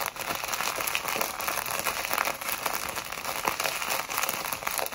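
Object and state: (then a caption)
Plastic bag of foam beads. A small clear plastic packet filled with tiny pink, purple and white foam beads is held in both hands and squeezed and rubbed with long white acrylic nails and fingertips. It makes a steady, bright crinkling and crackling with almost no low end, and the beads shift with soft rustles throughout.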